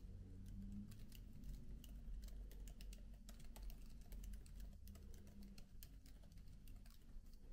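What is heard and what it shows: Fingertips type continuously on the black plastic keys of a MacBook laptop keyboard with an aluminium body. Soft, quick clicks patter in a steady stream over a low, constant hum.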